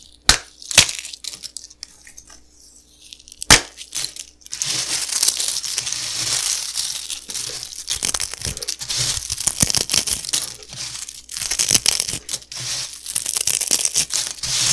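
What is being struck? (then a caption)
Dry puffed cereal pieces crumbled by hand. Fingertips pinch and crumble a pile of broken, dry, crispy puffed cereal pillow fragments by hand, with whole pieces sitting behind the pile. A few sharp, isolated cracks with quiet gaps come first, then from about four and a half seconds a dense, continuous, bright crackling and crunching runs to the end. The sound is crisp and high-pitched, with almost no low end.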